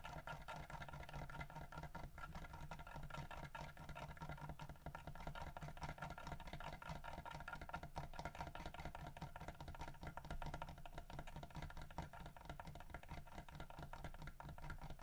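Fingernails scratch and tap quickly on the carved wooden fish held in the mouth of a solid carved wooden bear figurine. The result is a quiet, continuous stream of rapid, dry taps and scratches lasting the full clip, with most energy in the low range and very little high-frequency content.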